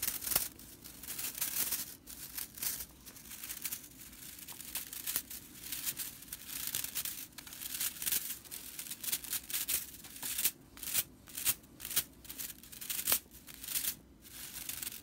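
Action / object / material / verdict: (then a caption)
scrape / broomcorn straw whisk broom bristles / broomcorn straw / none. Long purple nails scratch and flick the dry bristle tips along the edge of a broomcorn straw whisk broom. The result is a bright, crackly rattle of rapid, uneven scratches and snaps with little low end.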